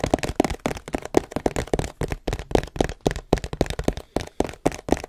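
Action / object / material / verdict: tap / long cardboard box / cardboard / none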